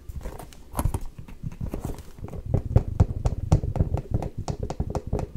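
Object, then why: Leather ankle boot. Long nails tap and knock on the leather upper and heel of a hollow, empty black leather ankle boot held sideways close to the mic. The taps are quick, irregular and dull, with short low-pitched knocks that stop dead with no ring.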